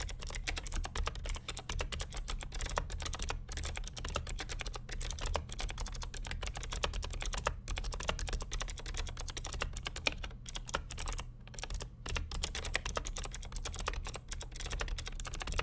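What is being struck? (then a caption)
Plastic mechanical keyboard. Fingertips of both hands type continuously on the plastic keycaps of a vintage beige NMB RT8255cw+ mechanical keyboard with Hi-Tek "Space Invader" clicky switches and a hollow plastic case. A dense, steady stream of sharp, bright clicks rides over a constant low hum, with only brief pauses between bursts.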